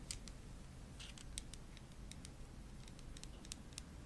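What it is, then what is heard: Glass nail polish bottle. Long nails tap the black plastic cap and the glass body of a small, full-looking purple OPI nail polish bottle held in the other hand. Quiet, sharp, bright clicks come in irregular bursts over a steady low hum, each tap dying away almost instantly.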